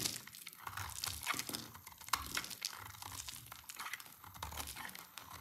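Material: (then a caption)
Soap. A solid pale yellow oval bar of dry soap, held in the hand, is shaved into curls with a utility knife blade. The scraping gives a steady run of dry, bright crinkly crunches with sharp little cracks and faint low thumps.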